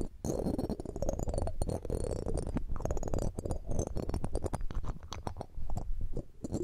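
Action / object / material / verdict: scrape / metal mesh microphone grille / metal / none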